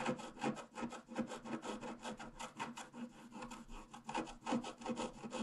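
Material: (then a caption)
Coated paper. A pointed wooden stylus scratches repeatedly across a flat black-coated scratch-art paper card lying solidly on a table. The steady, rasping scratching strokes come at about two to three per second, each a short dry rub with no ring.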